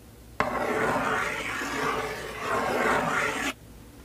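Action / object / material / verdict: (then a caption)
scrape / cardboard box / cardboard / none. Fingers with long painted nails scratch and rub across the printed surface of a sealed, full cardboard LEGO Star Wars 501st Legion set 75280 box lying flat on a table. A dry, continuous rasping rub starts abruptly, swells twice over about three seconds, then cuts off sharply.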